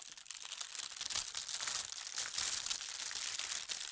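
Both hands press and smooth a large, thin holly-print tissue paper sheet on a table with fingertips and long nails. The result is a steady, bright, papery crinkling with dense rapid crackles, almost entirely high-pitched and with no low rumble.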